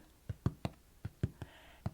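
A cardboard shipping box is tapped seven times in an uneven rhythm. Each tap is a short, dull, low thump that dies away almost instantly, with little high-frequency content.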